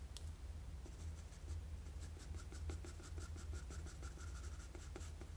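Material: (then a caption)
Paper. A wooden graphite pencil with a blue ferrule and eraser, held in the fingers, scratches shading strokes around the eye of an anime face sketched on a flat sheet of drawing paper. Soft, steady scratching with rapid, faint bright ticks runs over a constant low hum throughout.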